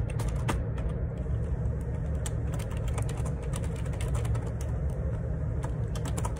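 Fingertips tap repeatedly on the plastic keycaps of a black plastic Perixx Periboard 612 wireless Bluetooth dual ergonomic split keyboard with a hollow housing, resting on a desk. Quick, light clicks and taps with bright transients sit over a steady low rumble.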